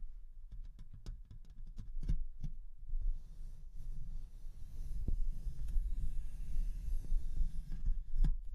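Long nails scratch and tap the hollow mesh metal grille of a Rode NT1-A condenser microphone. Irregular, dull, low thumps ring off almost instantly over a steady low scratching rumble, with a few sharp clicks reaching into the high range.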